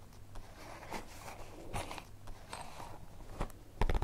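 Long nails tap and scratch the surface of a holographic plastic zippered pencil case, held in the hands with its contents inside. Soft crinkly scrapes and short, crisp plastic taps come over a steady low hum, and the loudest taps arrive near the end.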